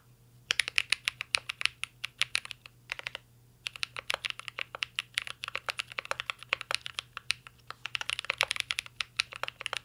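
A full-size mint-green Cyberboard R3 mechanical keyboard with a metal case, plastic keycaps and Holy Panda switches rests on a desk while two hands type steadily with their fingertips. Quick, bright, clacky keystrokes come in bursts with brief pauses, each hit snapping off almost instantly over a faint low hum.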